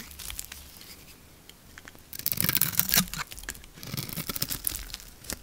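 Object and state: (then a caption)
Soap bar being scraped. A metal blade scrapes thin layers off the pink face of a solid blue and pink lacquered soap bar held in the hand. The sound is crisp, bright and crunchy, with dry scraping strokes that grow denser and louder in the middle of the clip before settling into lighter crackles.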